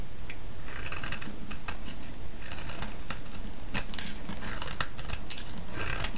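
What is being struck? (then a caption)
Bar of soap scraped with a metal blade. A solid, hand-sized green soap bar held in the hand is shaved and scraped with a metal blade, and curls break off. The result is a steady run of crisp, scratchy scraping strokes with bright, sharp crackles over a constant low rumble.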